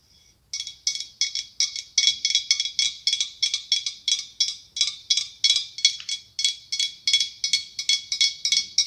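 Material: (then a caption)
Glass. A larger hollow, ribbed, white blown-glass pumpkin with a curly clear glass stem is tapped with long acrylic nails in a steady, quick series of short, bright clicks. Each tap has a glassy ring around 3.4 kHz that dies away almost at once, with no low end.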